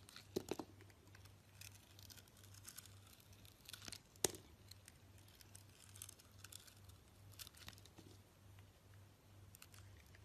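A rectangular solid bar of soap with a green sugary or glittery coating and an orange interior is held in the hand and cut and sliced with a utility knife blade. Quiet, crisp scraping and crackling cuts come at irregular intervals, with a few sharper snaps near the start and one louder crack just past four seconds. A low, steady hum runs underneath throughout.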